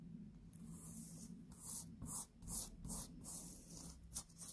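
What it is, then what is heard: Cotton t-shirt. Long painted nails scratch and rub the fabric of a black cotton t-shirt being worn on the chest. Quiet, irregular bursts of bright, hissy scratching come over a faint, steady low hum.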